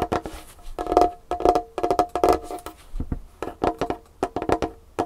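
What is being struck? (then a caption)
Wooden tabletop. Long painted fingernails of both hands tap fast on a large, solid dark-wood tabletop. The result is a rapid run of dry, clicky wooden knocks with a mid-pitched hollow tone around 715 Hz. Each tap dies away almost instantly, in uneven bursts.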